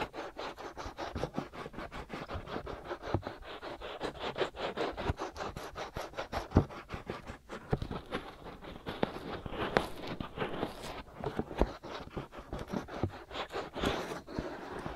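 Fingertips scratch and rub the hollow, ear-sized white silicone ear shells of a binaural microphone. A steady stream of rapid, close scratching strokes sounds with a soft, muffled mid-range rasp and short, dry ticks, with occasional louder scrapes standing out.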